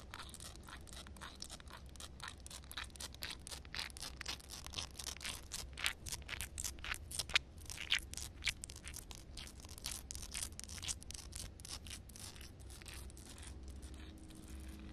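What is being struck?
Concrete slab with fingernails.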